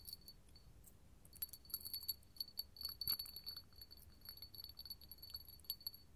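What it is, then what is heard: Hobnail glass candle holder. A small, clear, hollow hobnail glass candle holder is held in the hand and scratched and tapped with long gold metal finger claws. Quick, bright clicks and scratches come with a faint high glassy ring. The sound comes in irregular clusters over a soft background hiss.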